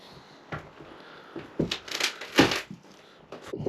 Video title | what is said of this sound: Village fantôme n°3 en Espagne (Asturies) : qui habitait ici ? | tout est pourri. Vous entendez comme ça craque.